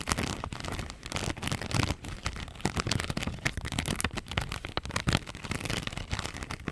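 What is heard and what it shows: Long nails scratch and tap a thin clear plastic strip covered in pink flower rhinestone stickers. The result is a dense, rapid run of crisp clicks and crackly scratches, bright and full-range with soft low thumps beneath. Each tap dies away almost instantly.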